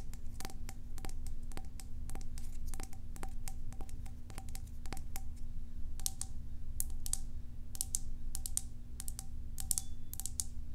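Long acrylic nails tap on a small, hollow, cylindrical white plastic tub with a green label and its lid on, held in one hand. The quick, bright clicks come in rapid bursts that stop briefly and restart, each dying away almost at once, over a steady low hum.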